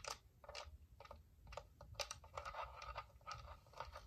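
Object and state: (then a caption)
Plastic UV nail lamp. A small white hollow plastic dome UV nail lamp, out of its box, is tapped and scratched with long painted nails and fingertips. Quick, dry, irregular clicks and bright scratchy scrapes come in short bursts over a faint low rumble, each dying away almost instantly.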